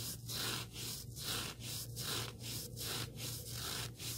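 Fingertips rub and scratch the surface and edge of a small, solid, black abrasive sanding sponge block. The result is a steady run of rhythmic, bright, hissy scraping strokes, with a constant low hum underneath.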